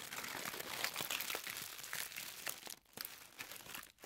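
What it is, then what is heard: Crumpled tissue paper. A thin white tissue paper sheet is balled up in the hands, then squeezed and crumpled with fingertips and long nails. It makes a dense, bright crinkling with rapid soft crackles, mostly high with almost no low end. The sound dips briefly near the end before picking up again.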